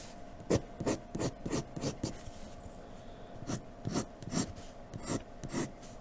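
A graphite pencil in a blue holder scratches quick strokes across a sheet of flat white drawing paper resting on a dark table. There are 11 short, dry rasping strokes with bright, scratchy edges, in a loose rhythm with a gap in the middle, over a faint steady hum.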